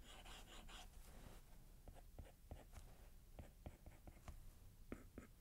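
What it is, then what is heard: Glass tablet screen under stylus strokes. A plastic stylus tip makes repeated shading strokes across the solid glass screen of a large iPad tablet, while the other hand rests on its keyboard case. Quiet, dense scratchy rubbing in the first second and a half gives way to softer strokes punctuated by short, crisp ticks of the tip on the glass.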